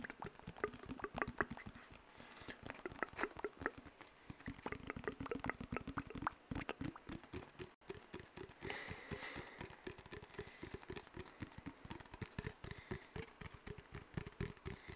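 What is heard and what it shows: An empty, hollow brown cardboard paper towel tube, about 25 cm long, is held in both hands close to a microphone and tapped and scratched with fingertips and short nails along its surface. Quick, dry, dense taps ring out with a hollow mid tone, mixed with bright scratchy rustles and a brief silent break partway through.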